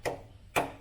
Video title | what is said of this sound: CARA CEK MOBIL BEKAS SEBELUM DIBELI | kalau pabrik ini masih rapi enggak ada dempul rusdi gini kan itu suaranya nyaring nyaring